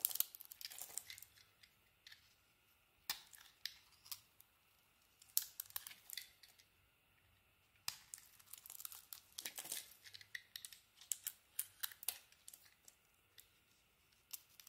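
A utility knife blade scrapes and carves crumbly flakes off a solid white soap bar with a striped painted coating, held in the hand. Crisp, bright scraping and crumbling bursts come in short clusters separated by near-silent pauses, with dry crackles and no low rumble.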